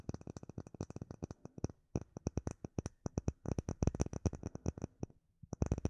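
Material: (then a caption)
Acrylic. Long nails tap a solid, clear acrylic plate with embedded bubbles, held close, in a fast, uneven run of about 39 short taps. Each tap is a dry, low thump with a faint bright click that dies almost instantly. The taps come in bursts with brief pauses just before 2 seconds and around 5 seconds.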